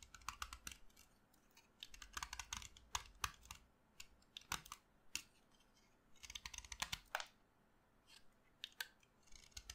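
A solid pink chalk stick held in the hand is scraped and carved with a utility knife blade, with chalk dust falling onto the table. Quick, dry, bright scraping and crackling strokes come in clustered bursts separated by short quiet pauses, each stroke ending sharply.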